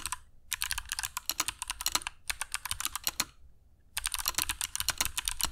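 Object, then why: Mechanical keyboard with plastic keycaps. Fingertips of both hands type continuously on a compact black mechanical keyboard with dark PBT plastic keycaps and Kailh Box Jade switches, resting on a cork desk mat. Sharp, bright, crisp clicks come in three fast bursts separated by short pauses, each click dying away almost instantly over a faint low hum.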